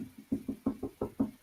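Someone knocks on a desk in a quick, even series of short, dry knocks. Each has a hollow mid-range thud around 270 Hz that dies away almost at once.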